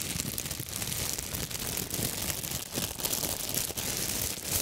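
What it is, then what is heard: Crumpled plastic bag. A large, thin, clear plastic bag, empty and crumpled, is gripped in both hands and crinkled and crushed close to the microphones. It makes a steady, dense stream of bright crinkling and crackling with little low end, rising in brief louder surges throughout.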